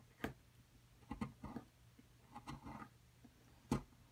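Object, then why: Plaster excavation block. A small metal chisel repeatedly scrapes and chips at a solid plaster dig block held by a long-nailed hand, knocking off fragments. A series of short, dry scratches and sharp clicks rises over a quiet low hum, with no ring after each strike. The loudest, crispest chip lands near the end.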